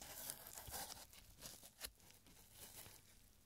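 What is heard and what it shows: Fingertips in purple nitrile gloves stretch, flex and crinkle a narrow, aged, stained paper strip printed with "Don't turn off the lights." The result is quiet, bright, papery crinkling with brief crackles and a few slightly louder snaps, over a soft low rumble.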